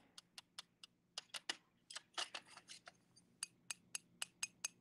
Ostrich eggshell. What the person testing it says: it almost sounds like glass it's a very kind of sharp sound like if you tap on a window